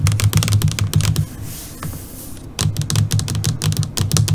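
Long glossy purple nails on both hands tap rapidly on the surface of a flat black LCD computer monitor screen. The bursts of quick, bright clicks carry a soft low thud, with a quieter pause in the middle before the tapping resumes.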